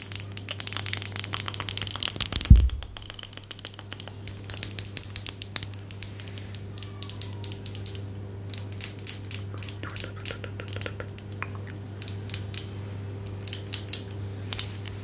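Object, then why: Small plastic cosmetic tube. A small hollow pink plastic cosmetic stick tube is tapped and scratched with long gold acrylic nails, making dense, rapid clicks and crisp scratching with bright, dry crackle. One louder knock stands out early on, and a steady low hum sits underneath the whole clip.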